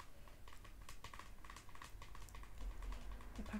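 Long nails tap quickly and repeatedly on the front face of a small printed cardboard face mask gift box, likely hollow, held upright in both hands. The taps form a soft, steady patter of short, dull clicks with a muted low body and little ring, growing slightly firmer toward the end.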